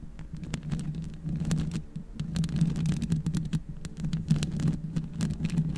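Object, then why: Metal mesh microphone grille. Long red acrylic nails scratch and tap all over the hollow metal mesh grille of a black USB microphone, using both hands. The result is a dense, low, booming rumble with a steady hum underneath, broken by many quick, crisp taps and clicks that spark briefly into bright ticks.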